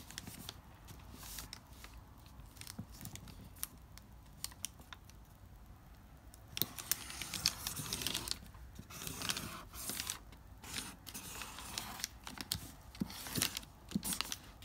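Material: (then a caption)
Paper. A pink felt-tip marker is drawn across a single sheet of thin lined notebook paper, previously crumpled and flattened, lying on a marble-pattern board. Dry, bright scratching and crinkling strokes come in short bursts. They grow louder and denser from about halfway through.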